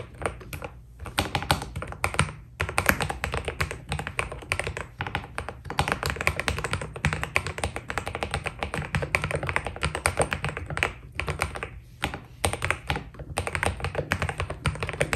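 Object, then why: Mechanical keyboard with PBT plastic keycaps. Fingertips of both hands type steadily on a white Keydous NJ80 mechanical keyboard with PBT plastic keycaps. A dense run of short, dry clacks and taps carries a low thocky body under brighter clicks, with only brief pauses between bursts.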